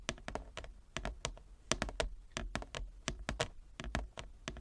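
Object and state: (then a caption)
Wooden chess board. Long nails and fingertips tap across a large, flat, inlaid wooden chess board, making about 20 quick, dry taps. Each tap pairs a soft low thunk with a bright click and dies away almost at once, in an uneven, typing-like rhythm.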